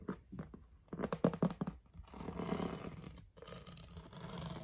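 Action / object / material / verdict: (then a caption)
scrape / plastic storage basket / plastic / none. Fingertips and short painted nails tap and scratch across the smooth, flat underside of a hollow, rigid, pink rectangular plastic storage basket with a woven-look rim. Quick, hollow, low-pitched taps cluster in the first two seconds, then give way to a steady dry scratching that pauses briefly and resumes until the end.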